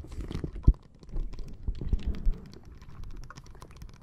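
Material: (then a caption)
Plastic. Long nails tap and scratch the surface of a flat, clear plastic bag full of small red water beads resting on top of a microphone. The result is a soft, irregular patter of muffled, deep thuds and light scratching, with one sharper tap standing out early on.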